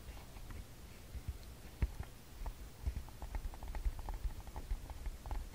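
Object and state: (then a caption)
Plastic handheld audio recorder being tapped. Fingertips and nails tap and scratch the front body and screen area of a TASCAM DR-40X handheld recorder, a palm-sized hollow plastic body held in both hands. Soft, close, patter-like taps land in a quick irregular run, each a dull low thump that dies away almost instantly, with faint scratching in between.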